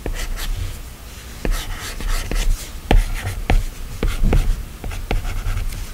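A plastic stylus tip is drawn in quick strokes across a solid iPad glass screen, giving a soft, dry scratching broken by sharp taps. Eight distinct taps stand out over the steady scraping, each stopping short with almost no ring.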